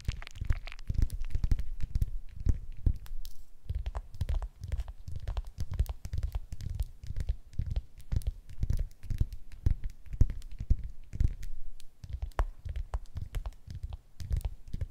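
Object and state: Tangerine.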